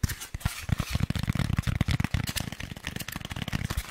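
Rapid tapping on a Styrofoam packaging insert from a Blue Yeti microphone box produces a stream of short, dull, bassy taps with a slightly sticky quality. The taps are dense and overlapping, and each one dies away almost instantly.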